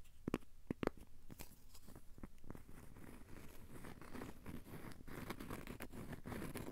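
A thin, solid, square cork coaster has its edge and face scratched with short fingernails. A quiet stream of dry, crunchy scratches and soft ticks starts with a few sharp, distinct strokes, then settles into a denser, steady rasp.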